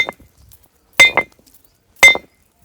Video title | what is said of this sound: एक ही स्थान से माँ नर्मदा के 2 अद्भुत स्वरूपों के दर्शन! ✨ रहस्यमयी पहाड़ी और प्राचीन हनुमान मंदिर | घंटी जैसी आवाज आती है। जैसे घंटी बजा रहे हो कोई।